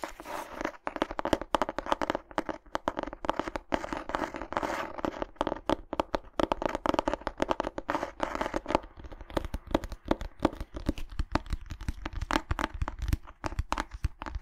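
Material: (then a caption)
Cloth. Long nails tap and scratch across the cover of a small, closed cream-and-grey cloth hardcover book with a red dot on it. The result is a dense, continuous stream of quick dry clicks and crackly scratching over a soft, dull low thump from the board underneath.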